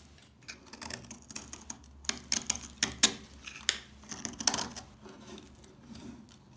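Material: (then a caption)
Soap. A solid bar of dry household laundry soap, held in the hands, is scored and scraped with the metal blade of a yellow utility knife. Repeated crisp, bright scratches follow one another with very short decay, some louder and sharper than others.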